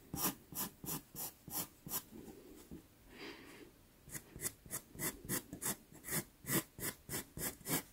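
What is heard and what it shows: A dark brown pastel pencil makes quick hatching strokes on a small taped sienna Pastelmat card, each stroke a short, dry, bright scratch in a steady rhythm. Midway the separate strokes give way to a softer continuous rubbing before the crisp scratching resumes.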